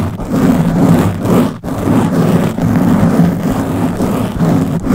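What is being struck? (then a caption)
Foam microphone windscreen. Long blue-painted nails on both hands scratch a round black foam windscreen covering the head of a Blue Yeti microphone. The result is a close, continuous rough scratching and rustling, heavy in the low end with a steady hum-like tone near 170 Hz. It stays loud throughout, with brief dips where the strokes pause, the sharpest near the middle.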